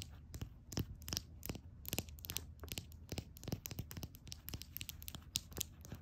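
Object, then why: Small glass nail polish bottle. A small, full red glass nail polish bottle is tapped and scratched with long nails. A rapid, irregular run of sharp, dry clicks with bright, glassy tones mixes with a scratchy texture over a soft low hum, and each tap dies away almost instantly.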